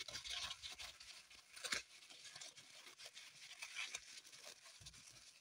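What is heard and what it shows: Long pointed acrylic nails dig into and scratch a small solid green floral foam block on a table, and crumbs fall onto the table. The sound is a quiet, bright, dry crackling and crunching scratch with a continuous crumbly texture, peaking in a louder scrape partway through.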